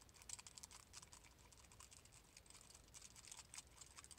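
A small palm-sized silver metal Death Star ball, possibly a grinder, is held up and tapped quickly with fingertips and nails. The result is a rapid, continuous patter of light, bright, dry clicks with almost no ring, sounding much like fast keyboard typing.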